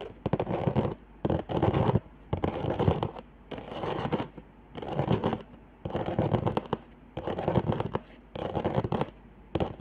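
Long fingernails of both hands scratch the raised hot-glue zigzags and lines on the upper half of a flat handmade cardboard trigger board. Bursts of dry, crackling scratches about a second long alternate with short quiet gaps, with most of the sound in the low and middle range.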